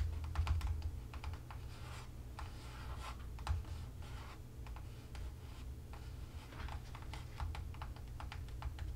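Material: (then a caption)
Cardboard. Fingertips tap the top and sides of a small upright CB2 cardboard product box, hollow and likely holding a bottle. Quick, dry, hollow clicks come in irregular bursts with a very short decay, over a steady low hum.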